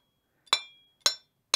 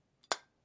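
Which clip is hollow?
The first.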